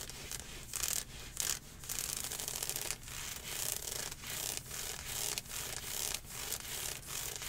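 Long painted nails scratch and rub aggressively across dark green ribbed athletic leggings of nylon/spandex-type stretch fabric with mesh panels, worn on the thigh. The result is a steady run of bright, hissy scratching strokes in quick back-and-forth passes, with brief dips between strokes and little low end.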